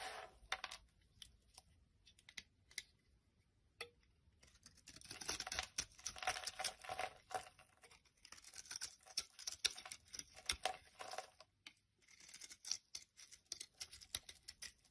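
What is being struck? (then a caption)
Soap bar shaved by a utility knife. A utility knife shaves strips off a fresh, solid yellow soap bar with an embossed logo, held in the hand. The result is quiet, bright, crisp scraping and carving in dense bursts of short strokes, with brief pauses between runs and almost no low end.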